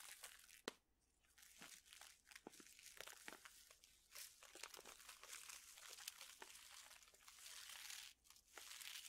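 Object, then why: Plastic pouch of dried chili peppers. A printed plastic pouch full of dried chili peppers is crinkled and rubbed with fingertips. The result is a dense, bright stream of crinkling and crackling with many sharp, quick snaps that die away almost instantly, at a quiet overall level with almost no low end.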